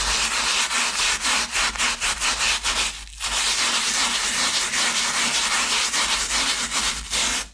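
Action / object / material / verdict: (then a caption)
scrape / foam shoe insole with fabric top / foam / none. A thin, solid foam shoe insole with a grey fabric top, lying on a towel beside a second insole, is scrubbed with a wooden-handled bristle brush while a hand holds it steady. Repeated brisk rubbing strokes make a bright, scratchy hiss with a brief pause near the middle before the scrubbing resumes and stops at the end.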